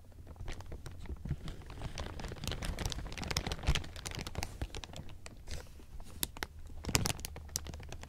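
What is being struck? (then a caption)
Thin plastic film. A large pile of thin, clear plastic sheeting is grabbed and crumpled by fingers. A steady stream of dense, crisp crinkling runs throughout, with sharp bright crackles over a low hum.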